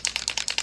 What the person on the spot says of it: it's a rattle can. You want to really hear that shake.